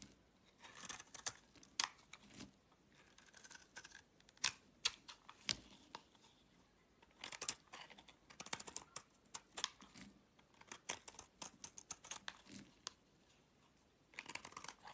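A box-cutter blade shaves and scrapes curls off a flat, solid piece of green bar soap held in the palm. The scraping comes as quick, dry, bright rasps and crisp ticks in uneven bursts, with quiet pauses between the runs.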